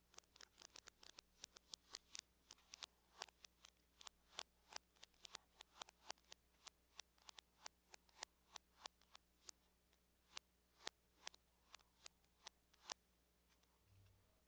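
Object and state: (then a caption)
Aluminum laptop lid tapped with nails. Long nails tap and lightly scratch the surface of a closed silver aluminum laptop lid, making a quiet run of quick, dry, bright clicks. The taps come in dense bursts at first, then space out. A steady low hum sits underneath, and a soft low rustle follows just before the end.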